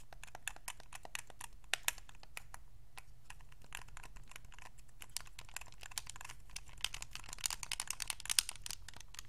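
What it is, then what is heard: Plastic game controller. Fingertips and thumbs rapidly click the buttons and sticks of a white Xbox 360 controller made of hollow hard plastic. The result is a steady stream of short, dry, bright clicks and taps that die away instantly, with a few sharper snaps standing out over a low, constant hum.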